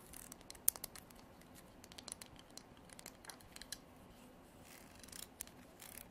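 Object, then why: Horn comb. Long nails scratch along the teeth and spine of a translucent amber comb with a dark edge, probably made of horn. The sound is quiet, with bright, dry scratching and rapid ticking clicks over a soft hiss. One sharper click stands out near the start.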